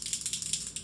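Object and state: Cosmetic bottle with a mixing ball rattling inside.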